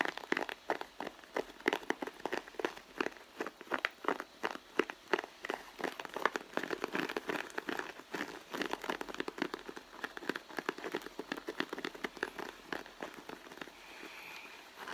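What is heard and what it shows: Long blue fingernails of both hands tap and scratch the side of a soft, hollow red pebbled-leather handbag. The result is a dense stream of quick, dry clicks and crinkly scratches with a bright edge and almost no low end. Near the end, the taps give way to a softer, steady rubbing.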